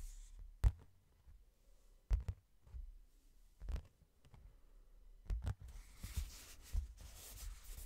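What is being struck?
Hardcover book cover and spine.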